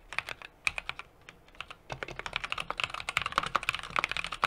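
Fingertips type continuously on a small 60% mechanical keyboard with an aluminum case, brass plate and plastic keycaps. Short, sharp keystroke clicks come in an irregular stream, sparse at first and then faster and denser after about two seconds. The clicks are bright with a faint low thock beneath.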